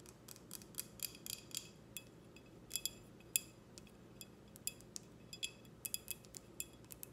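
Long red nails tap on a clear, empty, short drinking glass with a logo, held in both hands. About two dozen quiet, bright clinks with short high rings come in an uneven rhythm over a soft low hum.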